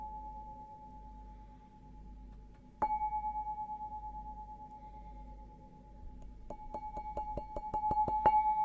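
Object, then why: Stemmed glass goblet. An empty stemmed glass beer goblet with a green logo, held upside down, is tapped on its bowl with fingertips and nails. A single sharp tap sets off a clear ring near 860 Hz that hums on for several seconds, then a quick run of bright taps near the end keeps the tone sounding.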